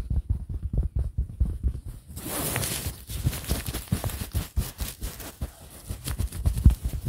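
Fingernails of both hands scratch a printed polyester pillow cover, making a rapid run of soft, low, muffled scratches and thuds. About two seconds in, a brighter, hissy rustle rises briefly before the dull scratching continues steadily to the end.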